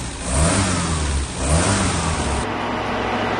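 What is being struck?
Nothing is struck.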